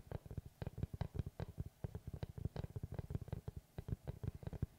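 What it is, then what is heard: Wooden tree slice board. Fingertips tap and scratch the face of a large, round, solid wood tree slice board with a bark edge, held upright. About 27 quick, dull, low knocks follow one another in an uneven patter, each dying away at once with no ring.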